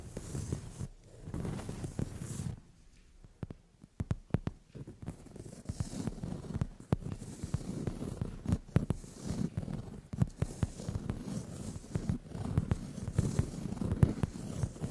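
Long nails tap and scratch across a brown leather padded sofa seat. Soft, low, muffled rubbing and scraping run through the clip, broken by sharp, short taps that land in irregular bursts. The overall sound stays quiet and dull, with little brightness.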